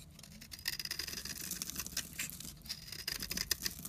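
A utility knife blade cuts fine shavings off the edge of a solid rectangular orange bar soap held in the hand, with the crumbs piling up behind it. The sound is a soft, continuous run of crisp, bright scraping and crackling ticks with very little low end.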